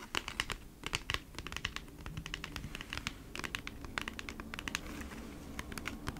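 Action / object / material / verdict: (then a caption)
tap / flat cardboard package / cardboard / none. Long nails scratch and tap across the surface of a flat cardboard Bee's Wrap package, which is brought close to the mic at one point. Quick, dry, bright clicks come in an uneven typing-like patter over a soft scratching rustle, each tap dying away almost instantly.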